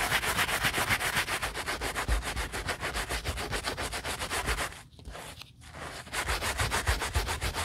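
A bristle brush with a wooden handle scrubs foam over the knit fabric toe of an Adidas Yeezy Boost 350 sneaker held upside down. Quick, steady back-and-forth strokes make a bright, hissing scrub. The strokes briefly soften near the five-second mark before the brisk scrubbing resumes.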